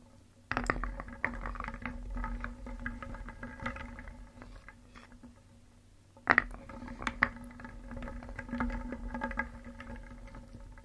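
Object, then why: Small painted wooden pieces in a wooden bowl. A wooden spoon stirs many small, solid, painted wooden cones, eggs and discs inside a round wooden bowl, so the pieces clack together. Two bursts of stirring, one starting near the beginning and one about halfway through, each open with a sharp clatter followed by a run of short, dry, knocking clicks over a low rumble.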